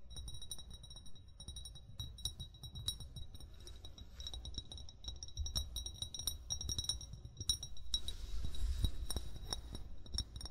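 An upright, hollow amber glass wine bottle, its fill level not visible, is tapped with short fingernails and fingertips. The result is a quick, uneven stream of light clicks and clinks, each ringing with bright glassy tones over a steady low rumble. The taps grow slightly louder toward the end.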